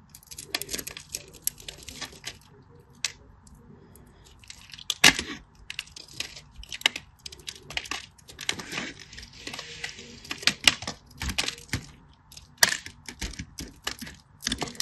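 A solid green bar of soap, already carved into small cubes, is sliced and scraped with a metal blade held in the fingers. Thin curls and chunks break away with dense, bright scratching and crisp cracking, its many short sharp bursts coming in irregular clusters.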